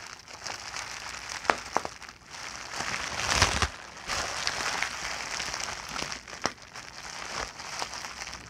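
A large clear plastic bubble wrap sheet with air-filled bubbles is crinkled with fingers and long nails while bubbles are pinched and popped. Steady bright crinkling and rustling is broken by sharp, short pops that stand out above it.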